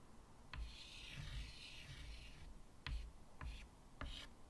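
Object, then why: White chalk on a wood-framed chalkboard. White chalk draws small lines on the right side of a medium flat chalkboard with a wooden frame. Four sharp taps of the chalk meeting the board are heard, with a longer bright, raspy scratching stroke between the first two and short scratchy strokes after the later taps, over low dull thumps.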